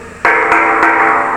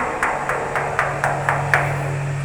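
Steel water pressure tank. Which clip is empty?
The first.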